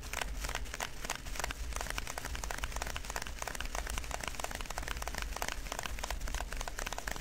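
Fingertips and short nails of both hands scratch, press and squeeze a hand-sized clear plastic zip-lock bag tightly filled with small colorful styrofoam beads, lying flat on a dark surface. The beads crackle and crinkle inside as a dense, steady stream of quick, bright clicks over a low, rumbling bed, with no pauses.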